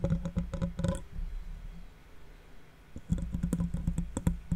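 Fingertips and nails of one hand tap and scratch the metal mesh grille of a large silver condenser microphone, which is hollow behind the mesh. A burst of quick, dry taps with a low, hollow thump opens the clip, then a softer scratchy stretch follows before another run of close-up tapping.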